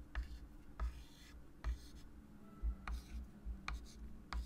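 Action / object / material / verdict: scrape / chalk stick on a wood-framed chalkboard / chalk / none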